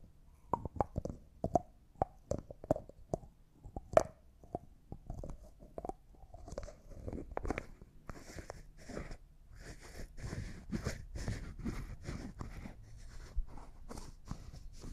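Fingertips and nails tap and twist the white plastic lid of a small, hollow, clear glass cosmetic jar that appears empty. Sharp, quick clicks with a faint mid-pitched ring come first. They give way to a steady, dry, scratchy rasp as the lid is twisted and rubbed.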